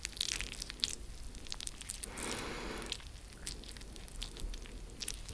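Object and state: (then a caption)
Cut lemon halves squeezed. A fresh yellow lemon, cut into two halves with one half held in each hand close to the microphone, has its juicy halves squeezed and rubbed with fingertips. Wet squishing and sharp, bright clicking crackles are heard throughout, with a denser, louder wash of squelching in the middle of the clip.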